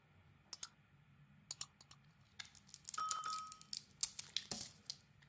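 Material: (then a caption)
Soap. A hand-sized solid bar of Isana soap, black and glittery outside and white inside, rests in the palm while a utility knife blade shaves and scrapes thin curls off its surface. A few sharp, bright clicks come first, then a denser stretch of crisp, crackly scraping with a brief faint whistling tone near 1.2 kHz, before a few more light clicks as it quiets down.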